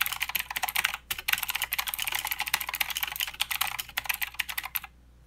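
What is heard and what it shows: Both hands type with fingertips on a mechanical keyboard with plastic keycaps and blue switches, producing rapid, bright, clicky keystrokes with a brief pause near one second. The typing runs steadily for about five seconds and then stops, leaving a faint low hum.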